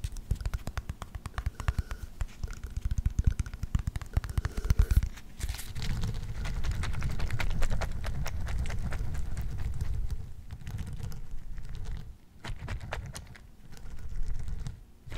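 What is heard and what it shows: An orange plastic pill bottle with a blue wrap and white cap, holding gel beads (orbeez), is shaken and tapped with the fingers. For about five seconds, rapid dense tapping and rattling is heard, followed by a steadier, low, muffled rumbling shake that briefly drops out twice near the end.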